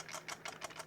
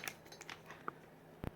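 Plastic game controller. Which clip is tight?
The second.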